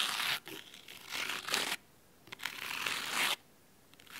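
Fingernails scratch the cloth spine of a large, thick, solid red fabric-covered hardcover book, then its top edge. The result is a dry, bright, rasping scrape in long passages with quiet pauses between, mostly high-pitched with almost no low end.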